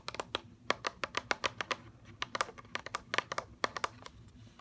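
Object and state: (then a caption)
Plastic blister pack on cardboard card. A mascara blister package, a plastic shell on a cardboard card, is held and tapped with fingernails on the plastic shell and the cardboard edge. About 22 quick, dry, bright clicks land in an irregular rhythm, centered around 1.1 kHz with crisp high ticks and almost no ring. A faint low rumble sits quietly underneath.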